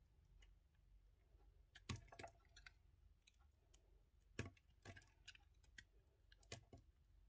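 A small piece of a solid red-and-white soap bar, held in the fingers, is repeatedly carved and scraped with a yellow utility knife blade. Quiet, irregular crisp clicks and short scraping strokes with bright edges sit over a low, steady background rumble, with a few sharper cuts standing out.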